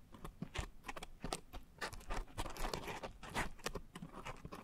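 A pink coarse foam scrub sponge is squeezed at the sides, then scratched across the top with long nails. The result is a dense run of soft, crackly scratches and squishes in quick, uneven bursts, with a low rumbling body and some bright grainy edges.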